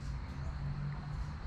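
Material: Nothing is struck.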